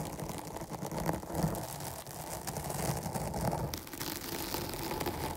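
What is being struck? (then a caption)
Foam microphone windscreen. Long nails scratch fast over the sides and top of a dark foam microphone windscreen. The result is a steady, dense rustling scrape with a heavy low rumble and a hiss on top, swelling and easing slightly without clear breaks.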